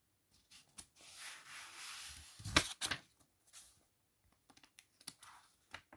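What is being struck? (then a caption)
Paperback book pages. Fingertips lift, rub and flip the thin cream paper pages of an open paperback book one by one over a fuzzy blanket. A long, soft, airy rustle of rubbing gives way to two sharp, crisp page flips, followed by quieter light ticks and brief rustles as more pages are handled. The sound is bright and papery, with little low end.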